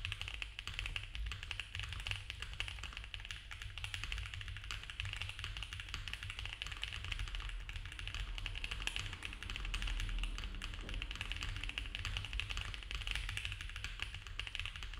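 Both hands type fast with their fingertips on a compact, foam-filled mechanical keyboard with cream ABS keycaps on a dark case and a polycarbonate plate. A rapid, steady stream of short, bright plastic taps clatters on without pause, each key stroke dying away almost at once. A constant low rumble sits underneath the typing.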